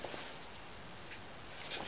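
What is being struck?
Nothing is struck.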